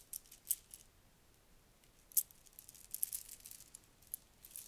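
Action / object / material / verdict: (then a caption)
shake / plastic bead necklace / plastic / none. A long strand of shiny red plastic beads is pulled through the fingers and piled into the palm. The beads rattle and clack together in quiet, bright, irregular bursts with very short decay, separated by stretches of near silence.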